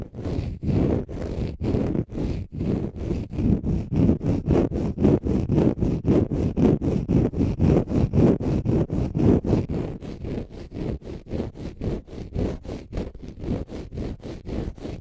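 Fingernails scratch a palm-sized, pale green konjac fiber facial sponge that is solid and porous. About 48 quick, rhythmic rasping strokes come at a steady pace, each a dry, low, rumbling scrape. The strokes are heaviest in the low range and have no bright top end.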